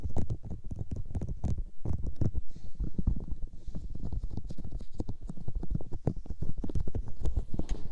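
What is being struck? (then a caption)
Silicone ear shapes on a microphone. Fingertips and long nails rub and massage the soft white silicone ear shapes of a binaural microphone. The result is a dense, continuous stream of deep, muffled thumps and rubbing bursts, with a faint bright hiss drifting in and out above them.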